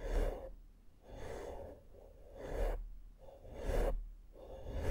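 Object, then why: Foam microphone windscreen. A large round fluffy makeup brush sweeps over a black foam microphone windscreen. Soft, breathy swishes rise and fall in slow, uneven waves, with a low rumble under a muffled midrange hiss.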